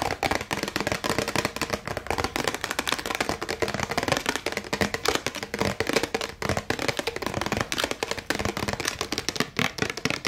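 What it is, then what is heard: Clear plastic tumbler. A hollow, empty clear plastic drinking tumbler with a colorful printed insert and a paper label is held in both hands and tapped fast with long acrylic nails. The result is a dense, rapid stream of short, bright plastic clicks with a hollow mid-range tone and almost no ring between taps.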